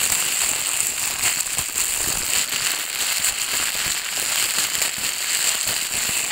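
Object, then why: Thin plastic bag. Fingertips with long dark nails pull, crumple and press an empty, thin, transparent plastic bag flat against a table. The result is a steady, dense crinkling and crackling that is bright and high with almost no low end, holding an even level throughout.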